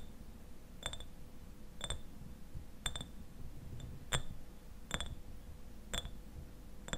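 Fingernails tap on a clear glass eyewash bottle, partly filled with liquid and standing upright, striking both the glass and its paper label. Short, bright clicks with a faint high ring come about once a second over a soft low background hum.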